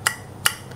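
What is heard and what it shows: Two short, hard knocks on the bowl housing of an iBright ZE 11 bi-LED projector headlight (2.5 inch, 50/60 W) give dense, dry taps with almost no ring. That solid sound marks a thick, premium bowl; a thin bowl would ring more.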